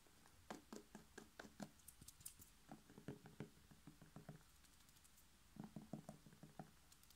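A whole, hollow red bell pepper is held in one hand while the fingertips of the other hand tap and knock on its side. About 19 quick, soft, dull taps come in three bursts, each with a short hollow low tone near 210 Hz that dies away almost at once.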